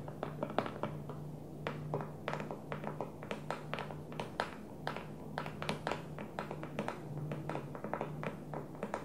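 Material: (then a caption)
Plastic. An empty clear plastic food storage container, set upside down on its blue lid, is tapped with long nails and fingertips. The result is a steady run of quick, light, hollow clicks and taps that die away almost at once, over a faint low hum.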